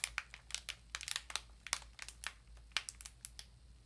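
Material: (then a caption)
Plastic film. A small bath sponge in a clear plastic wrapper is held and crinkled with both hands and long nails. About fifteen sharp, bright crackles and crinkles come in quick, uneven bursts, each dying away almost instantly, over a faint steady low hum.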